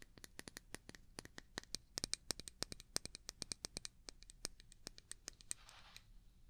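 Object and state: Small glass jar.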